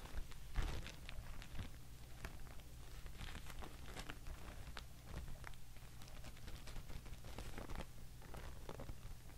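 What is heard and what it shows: A thin Thai mulberry paper sheet is crumpled, then lifted and dangled from one hand, shaken and rustled while fingernails tap on it. Soft, dry crinkling and papery patter run throughout, with short bright rustles over a low, steady hum.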